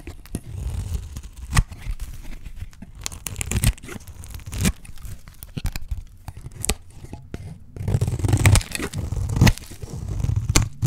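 A solid, dry green soap bar held in the hand is shaved with a utility knife blade into thin curls. The blade makes repeated dry scraping, tearing strokes with sharp crisp snaps over a low, muffled rumble.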